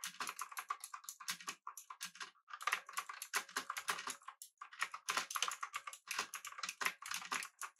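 Fingertips of both hands type on the clicky blue-switch keys of a pink backlit mechanical keyboard with an aluminum body and round plastic keycaps, resting on a desk. Rapid bursts of sharp, bright clicks run in quick flurries, separated by brief pauses. Each keystroke is short and crisp, with almost no low end.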